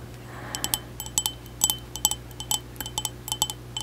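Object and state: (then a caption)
Ceramic mug. A white ceramic mug, hollow and apparently empty, is held close and tapped on its outer wall with long acrylic nails. About 17 quick, bright clinks come in an uneven rhythm, each with a high, glassy tone that dies away almost at once, over a faint steady low hum.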